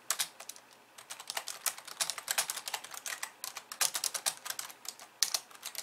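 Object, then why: Plastic computer keyboard. Two hands with long painted nails and fingertips type on a pink plastic computer keyboard with white keys. Quick, bright, clicky keystrokes patter in an uneven stream, with almost no low end. There is a brief pause near the start and one sharper tap near the end.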